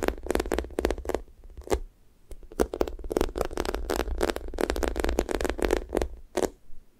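Long nails tap and press the pink sticky top of a thick strawberry toast squishy toy made of soft, solid foam with orange sides. Each touch makes a quick, tacky crackle as the surface sticks and peels away, and the crackles come in rapid, uneven bursts over a faint low rumble.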